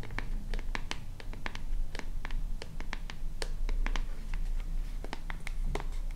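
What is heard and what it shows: A small white plastic lotion bottle with a purple cap is tapped and scratched with long nails, producing a steady run of quick, sharp clicks and bright scratching ticks. A constant low rumble sits underneath.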